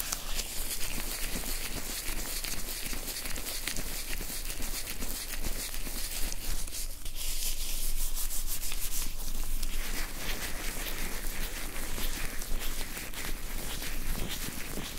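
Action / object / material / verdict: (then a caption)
scrape / nitrile gloves coated in oil / nitrile rubber / none. Blue nitrile gloves, wet with oil, are rubbed and squished together, fingers against fingers and palms against palms. This produces a steady run of soft, sticky, squelching rubs with a faint bright hiss. The sound is dense and continuous throughout, with no separate pauses.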